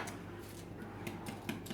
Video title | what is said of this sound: Keto/Paleo bread rolls Nutritious Ketogenic flourless gluten free bread rolls | sounds a bit high so it's done